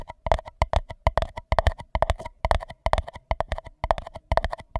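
Fingertips tap and scratch the outer wall of an empty white paper cup that covers a microphone. They make a quick, irregular run of soft, hollow taps with a resonant ring around 670 Hz, a deep thumpy body, and brief scratchy bursts. Each tap dies away almost at once.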